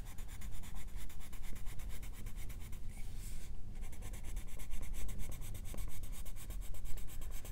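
A hand strokes a wooden colored pencil back and forth across the illustration on a thin paper page of an open coloring book, coloring it in. The result is a steady run of quick, dry scratching and rubbing strokes with bright grainy texture, easing briefly into a softer hiss around the middle before the rapid strokes resume.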